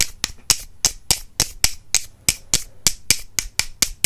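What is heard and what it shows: Two solid wooden makeup brush handles, held in one hand and crossed, are tapped against each other in a steady, quick rhythm. There are 16 sharp, bright wooden clicks, each dying away almost at once with a dry, snappy tone and little low end.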